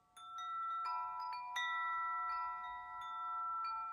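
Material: Metal.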